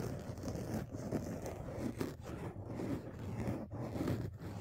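Fingertips and nails scratch and rub two black foam windscreen covers, made of soft porous foam, fitted over the mic capsules of a dual-microphone phone rig on a tripod. The result is a close, continuous, muffled rustling and scraping, heavy in the low end with almost no bright content, swelling and dipping as the strokes change.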